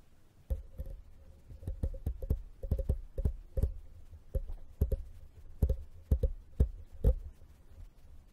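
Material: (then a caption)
Metal mesh. A small, hollow, empty, dome-shaped brass-colored wire mesh tea strainer with a metal rim rests on a foam mic cover while a thin copper-colored metal pick scratches and taps across its mesh. The result is an irregular series of short, dull, bass-heavy thumps, each with a faint, brief metallic ring, over a soft scratchy rustle.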